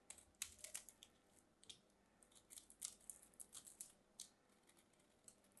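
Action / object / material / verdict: scrape / bar of soap cut with a small knife / soap / none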